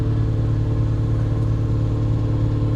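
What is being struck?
Nothing is struck.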